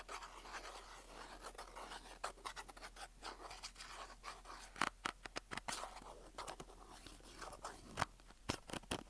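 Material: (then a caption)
Cardboard. A small rectangular printed cardboard box of staples with an orange and white label is held close and scratched and rubbed with fingertips and nails. Soft, continuous papery scratching is broken by sharp, bright clicks and taps that grow more prominent toward the end.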